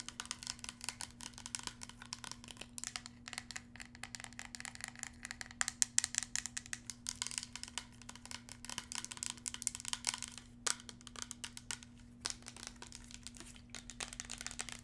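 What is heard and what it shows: A tall, hollow red plastic body mist spray bottle, held in the hand, is tapped and scratched with long red nails. The result is a dense run of quick, dry clicks and scratchy rustles that are bright and high-pitched and stop almost instantly, over a faint steady low hum.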